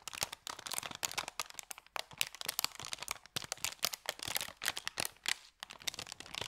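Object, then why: Thin kraft paper bag. An empty, thin, crumpled kraft paper bakery bag is held in both hands and opened, folded and crinkled by the fingers. Dense, bright crinkling and crackling comes in quick bursts with short pauses and almost no low end. The sound stays fairly quiet throughout.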